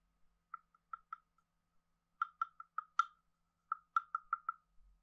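A wooden stick taps and rubs a hand-sized, hollow carved wooden frog guiro on its head and body. Thirteen short, dry, hollow knocks with a clear woody pitch near 1.4 kHz and almost no ring come in loose clusters over quiet gaps, with a few fainter clicks between them.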